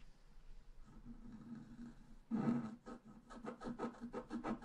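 A pointed wooden stylus scratches a flat, solid, black-coated scratch-art paper card lying on a table. Soft, faint scratching in the first two seconds gives way to louder rasping strokes, about ten distinct bursts with a low buzzy tone near 240 Hz and bright grainy texture.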